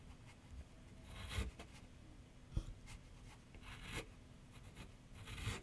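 A graphite pencil scratches sketch lines across a medium white canvas/paper board on a wooden easel while the other hand rests below. Soft, dry scratching strokes come in bright, hissy bursts over a quiet low rumble, with a sharp knock partway through.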